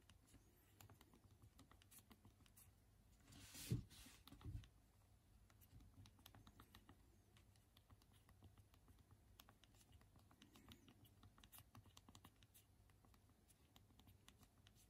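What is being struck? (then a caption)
Small plastic physical keyboard on a phone. Two thumbs rapidly press the hard plastic keys of the small physical QWERTY keyboard on a Unihertz Titan smartphone held in both hands, producing a steady stream of quiet, clicky key taps over a low background hum. Near the four-second mark, two louder, fuller thumps stand out before the fast, continuous typing resumes to the end.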